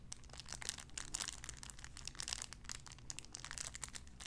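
A clear cellophane wrapper around a small sun-shaped figure is crinkled and scratched with fingernails. It makes a dense, continuous stream of bright, crisp crackles and rustles over a faint steady low hum, with no ring after each crinkle.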